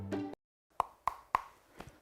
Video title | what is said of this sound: #질문맛집 _시즌2 👍저녁 사과는 독!? 사과에 대한 궁금증, 맛있게 풀어드립니다 | 퉁퉁퉁 둔탁한 소리가 나고 표면이 물렁물렁하거나 주름이 있으면 수확한 지 오래된 푸석한 사과라고 할 수 있어요